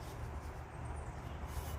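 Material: Nothing is struck.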